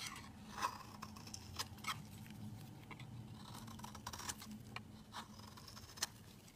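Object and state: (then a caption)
Soap bar being shaved. A metal utility-knife blade shaves flakes off the edge of a rectangular solid cream soap bar held in hand. Quiet, crisp scraping and short bright clicks rise over a faint low hum, with a few sharper cuts standing out as the flakes come away.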